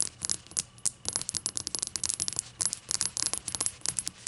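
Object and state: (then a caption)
Glass shot glass. A glass shot glass is tapped and handled in a rapid, uneven series of light taps and clinks. Each hit is short and bright with almost no ring, leaving little low-end body.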